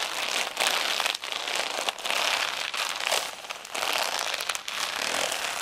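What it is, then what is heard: Plastic rhinestone sticker sheet. Long nails scratch across the acrylic gems of a flat plastic rhinestone sticker sheet resting on a towel. The result is a dense, bright crackling scrape that comes in several swells with brief dips between strokes, with almost no low end.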